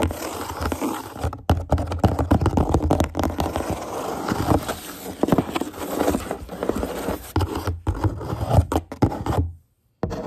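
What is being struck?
Empty corrugated cardboard box.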